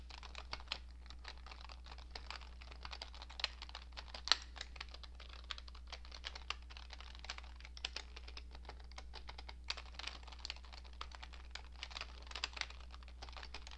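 Both hands type with fingertips and long nails on a cream-coloured plastic computer keyboard with hollow keycaps, producing a steady stream of quiet, bright plastic key taps with occasional louder clicks. A constant low hum sits underneath throughout.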